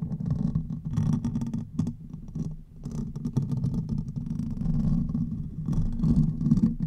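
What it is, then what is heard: Metal mesh microphone grille being scratched. Fingernails scratch the hollow metal mesh grille of a silver condenser microphone, first with one hand and then with both. The result is a dense, continuous low rumbling scrape centered around 150 Hz, broken by quick bursts of brighter crackling as the nails drag across the mesh.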